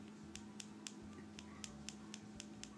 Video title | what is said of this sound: How I prep and fill my nails | it sounds muted on these two that's because the product is still wet well not all the way wet but still tacky and not dried all the way through